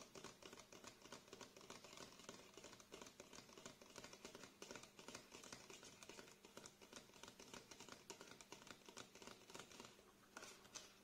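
A plastic face wash bottle with a green cap, held tilted in one hand, is tapped and scratched with the fingernails of the other hand. The result is a quick, steady stream of light, dry clicks and scratchy rasps, bright and crisp with very little low end, each one dying away almost immediately.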